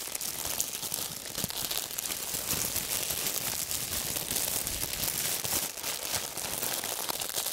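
A small bunch of clear, thin plastic wrap is squeezed and crinkled between the fingers. The result is a dense, continuous run of bright, crisp crackles with almost no low end, holding a steady level for the whole clip.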